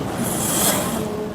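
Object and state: Nothing is struck.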